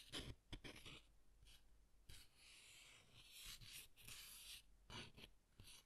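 Fingertips and nails scratch and rub the textured front of a closed green cardstock greeting card with a harp design, held in both hands. Quiet, bright, papery scratching comes in short bursts and longer smooth rubbing strokes, with soft low thumps from handling.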